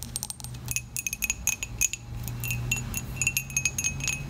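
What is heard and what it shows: A dark, glossy, hollow ceramic coffee mug is tapped and scratched on its side with long acrylic nails. Quick, bright clicks arrive in a steady run, each carrying a short high ring over a faint low hum.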